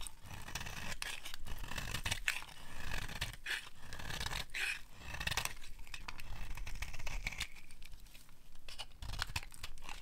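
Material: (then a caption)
Soap. A small metal blade is held against a palm-sized, solid, dry yellow soap bar, scraping and carving it as shavings curl off. The sound is a steady stream of dry, crunchy scraping with a low rumbling body and bright, gritty edges, swelling and easing in short passes.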